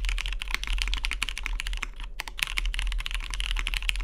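A Matrix 2.0OG Cyan tenkeyless mechanical keyboard, with a cyan anodized aluminium case, cream plastic keycaps and lubed Vintage MX Brown switches, sits on a deskmat while fingertips type on it continuously. The keystrokes are rapid, short and crisp, with a bright clacky top. A brief pause comes just past the two-second mark, and a steady low hum runs underneath.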